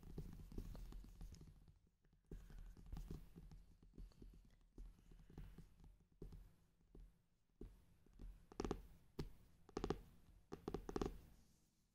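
A brown faux-leather hardcover notebook with an embossed pattern and a gold clock emblem lies flat on fabric and is tapped across its solid board cover with fingertips and long painted nails. The result is a steady run of dull, low, muffled taps in uneven bursts, with brief pauses and a few sharper, brighter clicks near the end.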